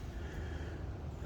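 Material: Nothing is struck.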